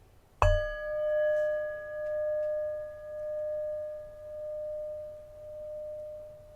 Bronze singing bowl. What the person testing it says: It's actually a nice sounding tone, but you can hear the difference, can't you?